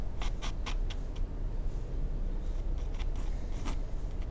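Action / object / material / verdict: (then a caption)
scrape / pencil on a paper sheet / paper / none. A mechanical pencil tip makes short sketching strokes across a white paper sheet in a sketchbook, giving quick, bright scratchy rubs over a steady low rumble. The strokes come in brief bursts early on, then sparser ones later.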